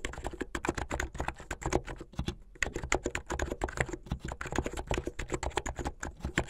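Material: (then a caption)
Plastic. Fingertips with medium-length painted nails type fast on a plastic mechanical keyboard with white and blue plastic keycaps. Rapid, closely spaced clacks with a low, dry body and a slight bright tick stream past, with a brief lull partway through. Each keystroke dies away almost instantly.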